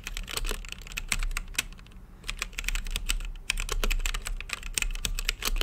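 Fingertips type steadily on a full-size mechanical keyboard with Gateron brown switches, plastic keycaps and a translucent backlit acrylic case. Each key press gives a short, bright clack centered near 2.5 kHz that dies away almost instantly, over a constant low hum. The run of presses thins briefly around the two-second mark before picking back up.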